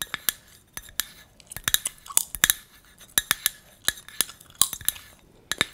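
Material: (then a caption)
Metal. A small, hollow, cylindrical copper-colored metal tea tin is held in both hands and tapped with long red nails. The taps make a rapid, irregular run of sharp, bright, high metallic clinks. Each clink dies away almost instantly, with quiet gaps between the bursts.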